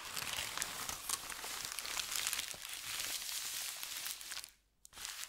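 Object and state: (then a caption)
Thin paper sheet being crinkled. A flat, crinkled, thin white paper sheet is rubbed with fingertips, gathered and crinkled, then smoothed out. The result is dense, bright, crackling crinkles with sharp transient snaps, almost no low end. It drops to near silence briefly before the rustling resumes at the end.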